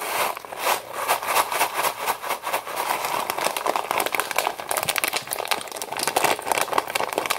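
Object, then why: Foil-lined plastic pouch of dry pasta. A Knorr Pasta Sides pouch of foil-lined plastic, full of dry pasta, is shaken and crinkled in both hands. The result is a continuous stream of dense, bright crackles and rustles with pasta rattling inside, centered in the mid-range around 1 kHz with no low end.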